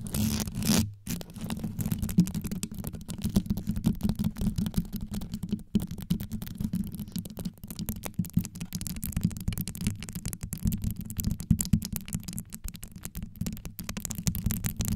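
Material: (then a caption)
Glass rhinestones. Both hands scratch and tap a hollow, rhinestone-wrapped microphone head with long yellow nails. The result is a fast, continuous, deep rumbling scrape, mostly low around 170 Hz, with many quick clicks and brief bright crackles. A short dropout comes near the first second.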